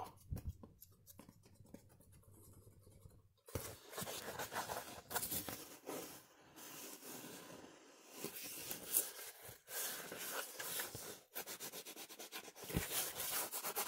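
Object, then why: Cardboard sheet. A thin, solid, flat brown cardboard sheet with a red logo is held close and rubbed and scratched with fingertips and short nails. Quiet, faint scratching for the first few seconds gives way to louder, dense, bright scraping and rustling in uneven bursts with brief pauses.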